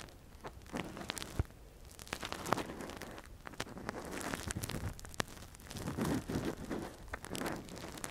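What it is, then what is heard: Silicone ear microphone being scraped with an earpick. A gloved hand scratches and probes inside the canal of a soft, translucent, hand-sized silicone ear model (a binaural mic cover, hollow at the canal) with a thin metal earpick. The result is close, dry crackling and rustling scrapes, with sharp clicks and brief clusters of scratching.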